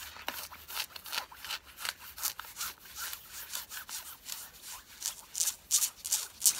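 Long fingernails scratch fast across the thigh fabric of worn blue denim jeans. The result is a quick, somewhat irregular series of dry, bright rasping strokes with almost no low end, each cutting off sharply. The last few strokes near the end come through louder and harsher.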